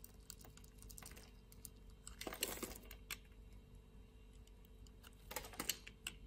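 A metal utility blade scores a grid into a solid, hand-sized blue soap bar held in the palm and scrapes off the cubes. Quiet, crisp, clicky scratches come in two louder clustered bursts, bright and papery, over a faint low background hum.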